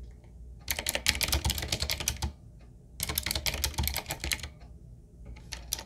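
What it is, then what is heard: Mechanical keyboard being typed on. Fingertips of both hands type on a 7Keys retro mechanical keyboard, a full-size, solid-bodied typewriter-style board with round plastic keycaps on a dark metal plate and a wooden-looking frame. Two bursts of rapid, bright, clacky key taps with a low thud underneath are separated by a short pause, then a few scattered taps follow at the end.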